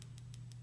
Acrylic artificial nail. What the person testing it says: now it sounds kind of dull it'll be a really loud tapping noise and that's when you'll know that they're dry